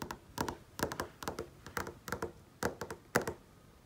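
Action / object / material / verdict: tap / flat-panel TV screen / glass/plastic / none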